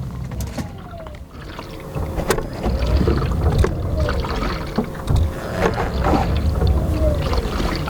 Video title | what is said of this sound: 3 things I HATE about my Rivian R1T after 10,000 miles | water somehow gets inside of my driver's side door I'm not sure how but you can hear it sloshing around in there